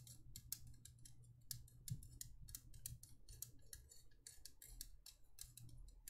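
A small, empty, hollow cylindrical candle holder of thin embossed copper-toned metal, with a swirl pattern and cutouts, is held in both hands and tapped and scratched with long painted nails. The result is a quick, irregular run of dry, bright clicks and scratchy ticks that die away almost instantly, over a low, steady hum.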